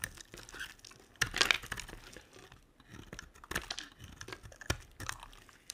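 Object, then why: Glycerin bar soap scraped with a knife blade. A utility knife blade scrapes a solid yellow translucent glycerin soap bar, piling up shavings. The result is a series of dry, crisp crunching and crinkling scrapes, bright and close, with short sharp bursts and quiet gaps in between.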